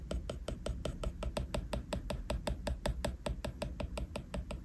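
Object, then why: Glass tablet screen and plastic stylus. A plastic stylus tip taps and scratches in rapid, fairly even strokes on the flat glass screen of an iPad while detailing a drawing. Each stroke gives a short, crisp tick that dies almost at once, over a steady low rumble underneath.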